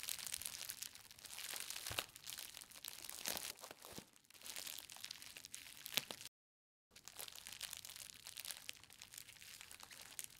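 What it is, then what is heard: Bubble-wrapped book parcel. A green plastic bubble-wrapped book parcel is squeezed at its ends, then pressed flat on a table by fingertips with long nails. The result is a dense run of bright, crisp crinkling and crackling with a few sharper pops, broken by a brief moment of silence just past the midpoint before the crinkling resumes.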